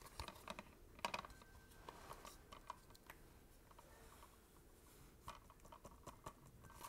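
A hollow, thin, book-sized translucent blue plastic PS4 game case with a disc inside is held in both hands and tapped and scratched across the cover with fingertips and nails. Quiet, sharp clicky taps come in uneven bursts, some with a bright edge, and die away almost instantly over a soft scratchy rustle and a faint steady hiss.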